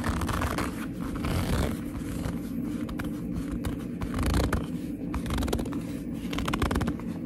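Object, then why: Leather handbag. Long nails and fingertips rub and squeeze the front panel of a hollow black leather handbag. The result is a steady run of squeaky gripping and scraping rubs over a low, dull rumble, with brief bright streaks where the nails drag across the leather.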